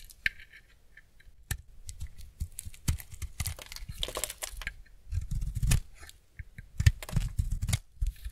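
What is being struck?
Bar soap scraped with a knife blade.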